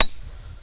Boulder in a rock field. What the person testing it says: no ring this is regular Rock